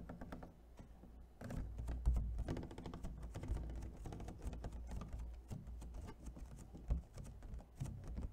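Fingernails tap rapidly across the patterned lid and along the ribbed edge of an empty, hollow clear plastic clamshell food container. The quick, dense taps sound light and clicky over a steady low, hollow thump, each one dying away almost at once, with a few louder knocks standing out.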